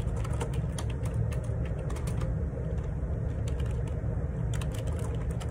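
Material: Plastic.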